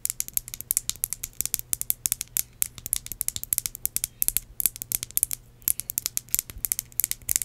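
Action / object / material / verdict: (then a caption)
tap / small glass perfume bottle with metal spray cap / glass / none. Long acrylic nails rapidly tap and scratch a small red glass perfume bottle that holds liquid and has a metal spray cap. A dense run of crisp, very short, bright clicks with scraping in between sits over a faint low hum.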